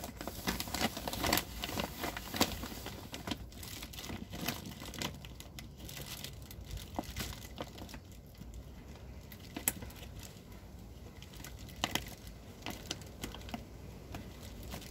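Fingertips crinkle and rub the gathered plastic at the top opening of a large, full white plastic sack of broken rice with a red "riz cassé" print, held upright. Dense, continuous crackling and rustling fills the clip, with sharper crinkles popping out now and then over a steady low rumble.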